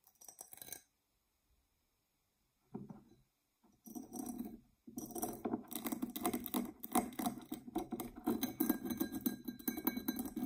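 Long nails scratch and tap a tall, dark purple, embossed tinted glass tumbler that is hollow and empty. A few short bursts of scratching are broken by pauses, then a dense, fast, uneven stretch of clicking taps and rasping scratches continues to the end. The sound is crisp and dry with bright highs and a faint glassy tone that dies away almost instantly.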